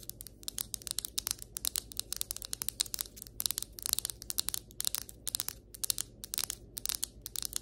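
Long white acrylic nails tap rapidly on a flat, solid ceramic floor tile, producing a quick, uneven stream of sharp, bright clicks that stop almost instantly. A faint, steady low hum sits underneath the taps.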